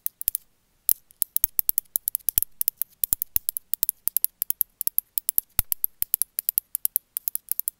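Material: Glazed ceramic.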